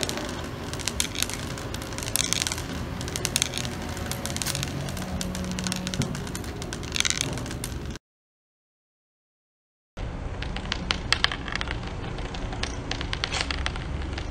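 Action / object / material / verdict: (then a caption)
scrape / ceramic floor tiles struck by a rolling metal ball head / ceramic / none. A long spring-neck inspection rod with a metal ball head (stick type 65) is dragged and bounced across a large outdoor floor of textured ceramic tiles, solid and laid on a slab. The ball rolls and taps over the tile joints, giving a dense, rapid rattling tap with a crackly, gritty edge. A brief silence at about 8 to 10 seconds breaks the sound before the rattling resumes.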